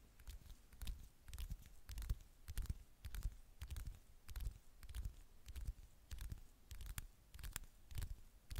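Long fingernails tap and scratch the glossy glass screen of a handheld smartphone, held flat and thin with the screen facing up. The result is an uneven run of quick, dry clicks and short scrapes, each with a soft low thump underneath and a bright, brief tick on top that dies away almost instantly.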